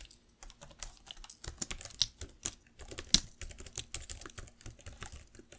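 Fingertips and long nails type on the plastic keys of a black laptop keyboard, giving quick, bright clicks and clacks at an uneven pace. Some taps are sharper and louder, with brief low thumps beneath the bright clatter.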